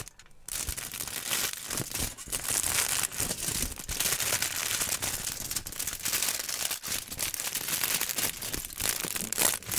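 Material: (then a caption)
Aluminium foil. A thin, crumpled sheet of aluminum foil is held in both hands in front of a microphone and crinkled and crumpled with the fingers. After a brief quiet start, a dense, continuous crackling fills the clip, bright and hissy with little low end, full of sharp crinkles.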